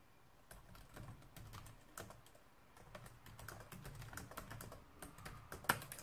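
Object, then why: Plastic laptop keyboard. Both hands type with their fingertips on a black plastic laptop keyboard. Quiet, irregular key taps land as short clicks with a soft low thump under each, and one sharper, louder tap stands out near the end.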